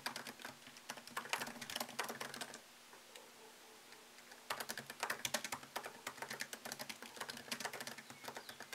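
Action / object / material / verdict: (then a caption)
tap / laptop keyboard with plastic keys in a metal body / plastic / none. Fingertips tap the plastic keycaps of a MacBook Pro laptop keyboard set in an aluminium body, producing rapid, bright clicky keystrokes in quick bursts. The typing pauses for about two seconds with only a faint steady hum, then resumes in a fast run of crisp, short clicks.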